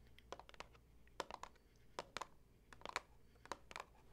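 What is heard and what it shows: Long acrylic nails tap and scratch along the top edge of a hollow Tazo Wild Sweet Orange cardboard tea box standing on a table. Quiet, crisp clicks come in short clusters with brief scratchy strokes between them, each tap dry and short with a bright, papery edge around 1 kHz over a low background hum.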